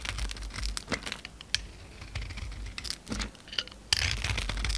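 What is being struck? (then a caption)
Foil-coated soap bar scraped with a blade. A utility knife blade scrapes and shaves a palm-sized, solid rectangular white bar of soap held in the hand, stripping off its gold-foil, gold embossed coating along with soap powder. Irregular dry, bright crinkling scrapes and crackles sound over a low background rumble, with a few sharper ticks standing out.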